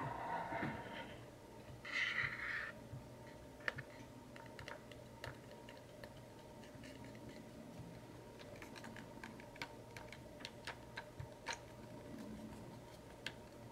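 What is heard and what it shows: A small, hollow, printed pastel cardboard macaron box is held in the hand and tapped and scratched with short fingernails. Two brief, brushy scratching bursts come first, followed by a string of sharp, dry, irregular taps with almost no ring. A faint steady hum runs underneath throughout.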